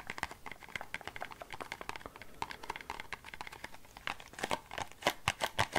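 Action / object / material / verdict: tap / small thin cardboard box / cardboard / none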